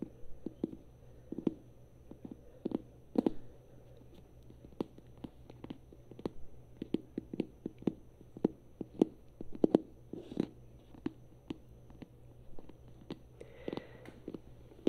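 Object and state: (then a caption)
Rubber duck. A small hollow yellow vinyl rubber duck, held in the hands, is tapped and scratched with long nails. Dozens of quick, dull, hollow taps land at an uneven pace over 15 seconds. They mix with soft scratching over a steady low hum.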